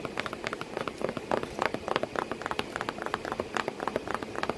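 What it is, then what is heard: Cardboard box. Continuous light tapping on a cardboard box with a cat sitting inside it. Short, dry taps with almost no ring come in a quick, uneven stream over a faint background hiss, their hollow mid-range tone centered around 500 Hz.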